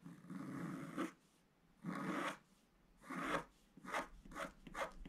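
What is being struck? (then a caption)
Black-coated scratch art card scratched with a wooden stylus. A wooden stylus held in the fingers scratches lines into a flat A4-size scratch art sheet with a black coating over metallic card, lying on a table. Five dry, raspy scraping strokes are heard. The first is long and steady, and the later ones are shorter and quicker, with brief quiet gaps between them.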